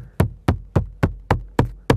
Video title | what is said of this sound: Stone Veneer Installation - Part 1. Scratch Coat (Metal Lath And Underlayment) | it sounds like there's a stud about right here